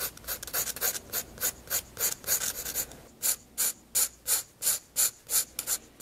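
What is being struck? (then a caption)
Graphite pencil on a paper sketchbook page. A 7B graphite pencil held in the hand sketches a portrait on a large white paper page of a spiral-bound sketchbook lying flat on a desk, using light strokes. Dry, bright scratching and rubbing strokes come in quick, uneven bursts at first, then settle into slower, more evenly spaced swipes, each fading almost at once.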